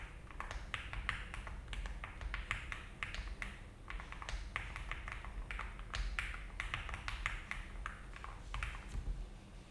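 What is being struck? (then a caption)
Mechanical keyboard with plastic keycaps. Slow, steady typing with both hands' fingertips on an Alice-layout mechanical keyboard with a frosted plastic case and cream and brown ABS keycaps. The keys give short, bright clacks centred near 1.9 kHz that die away quickly, over a low background hum.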